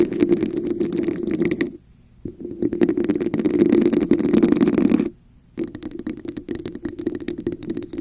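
Long nails scratch and tap across the surface of a hollow red textured plastic cup held over the mic. The result is a dense, rapid, uneven patter of scratchy taps with a hollow, boxy resonance around 344 Hz. It breaks off into near-silence twice, briefly each time.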